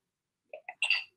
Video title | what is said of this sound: Korean Dishes with Magpie and the Tiger (Online Cooking Demo) | you could hear how crispy and crunchy it is